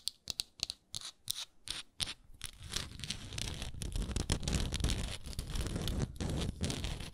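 Long acrylic nails tap and scratch mainly on the thick round wooden lid of a small, apparently full, hexagonal frosted glass moisturizer jar. Quick, crisp, bright taps come first, spaced apart with short pauses. They give way to a steady, dense scratching with a strong low rumble that continues to the end.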